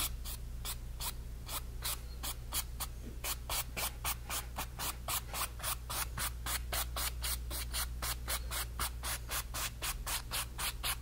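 A flat brush is scrubbed back and forth on a painted, stretched cotton canvas panel, spreading a red stroke. Each pass makes a short, bright, papery rubbing swish in a steady rhythm of about four per second. A constant low hum sits underneath throughout.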